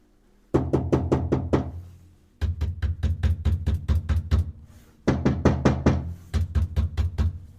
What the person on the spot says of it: глухо глухо значить ефект все-таки воно дає